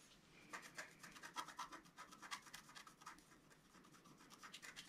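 A wooden stylus scratches repeated lines into the butterfly-wing area of a flat, black-coated scratch art card resting on a table. The sound is a quiet series of short, dry, bright rasping strokes with a faint tonal edge near 1 kHz. The strokes come in quick succession and fade out almost at once.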